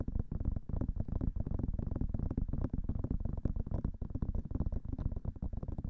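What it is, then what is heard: Silicone microphone ear being tapped. The white silicone ears of a binaural microphone are tapped rapidly with long nails and fingertips. This produces a dense, continuous stream of short, muffled thumps that are deep and boomy, with almost nothing in the high range. Each tap dies away almost instantly.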